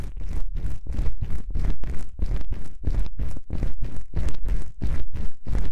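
Long pink-painted nails scratch the two small black foam windscreen covers on a binaural microphone. Rapid, repeated strokes make a dense, rough scraping with heavy low rumble and bright hiss in each pass. The sound stays close and steady throughout.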